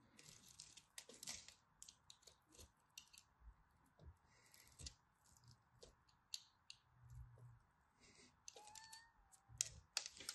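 A craft blade scores lines into a solid orange-and-white striped dry soap bar and chips off small pieces. The result is a quiet, irregular series of short, dry, bright scratches and crisp clicks, with a faint steady hiss underneath and a few soft low thumps.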